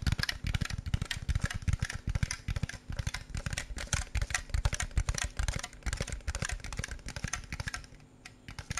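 A hand-sized clear plastic jar with a red printed label, partly filled with snacks, is held in the hand and tapped rapidly with fingertips and nails. The taps come in quick, uneven bursts of short, dry knocks, deep and hollow with a bright clicky edge. They carry on steadily and ease off slightly near the end.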